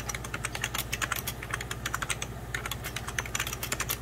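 Fingertips of both hands type on a hollow, beige 1990s Packard Bell plastic computer keyboard. A rapid, uneven stream of short, bright, clacking key taps plays over a steady low hum.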